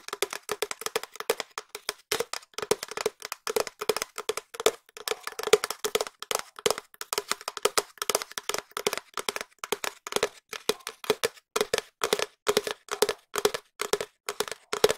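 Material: Cardboard.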